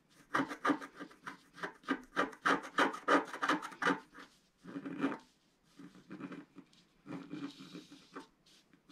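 A wooden stylus stick repeatedly scratches a flat black coated scratch art paper sheet lying on a table. A quick run of dry, raspy strokes fills the first four seconds, followed by a brief pause and another firm scrape. Softer, scattered scratches trail off toward the end, each with a short, dry rasp that leaves almost no ring.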